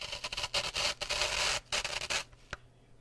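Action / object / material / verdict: flick / floral foam block with wooden toothpicks / foam, wood / none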